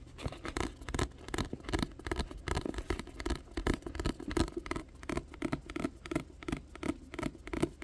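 Fingers tap on a paperback volume of the manga *Perfect World* in quick, irregular bursts. The soft, muffled taps have a dull low-mid body around 330 Hz, little brightness and almost no ring.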